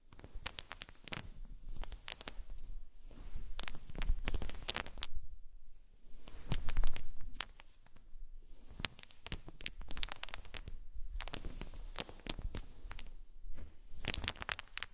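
Small solid wooden balls resting on a fluffy blanket are moved and tapped by fingertips and long nails, clacking together in quick, irregular bursts of sharp clicks. Soft rustling and low thumps from the blanket sit beneath the bright, short-lived clacks.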